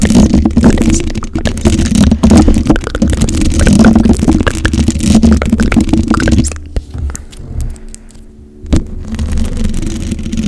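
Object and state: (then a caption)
Metal microphone grille being scratched. Long acrylic nails on both hands scratch the black, hollow metal mesh grille of a microphone, making a dense, crackling scrape over a deep boomy rumble with a hum near 220 Hz. Around six and a half seconds the scratching drops to quieter, sparse ticks with one sharp click near the nine-second mark, then the full rubbing returns.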